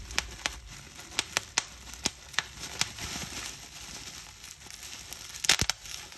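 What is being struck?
Plastic bubble wrap.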